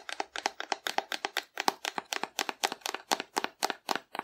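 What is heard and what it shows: A hollow painted cardboard dinosaur figure, held upright, is tapped with long nails in a quick, slightly uneven series of about four taps per second. Each tap is a short, dry, hollow click with a mid-range body around 800 Hz and a bright edge, dying away almost instantly.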